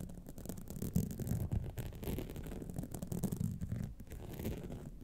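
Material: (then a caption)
Rhinestone. Long nails scratch the sides and studded face of a gold rhinestone-studded clutch wallet. The result is a steady, dense, low rasping scrape with quick bumps in level and no ringing after the strokes.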